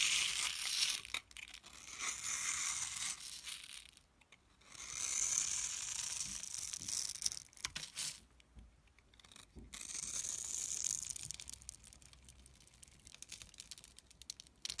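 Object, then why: Bar of soap. A metal blade scrapes and cuts into the surface of a palm-sized, solid rectangular bar of green and white striped soap held in the hand, producing crumbly shavings. The sound is a bright, dry, crackling scrape in fast, uneven bursts, broken by brief quiet pauses between passes.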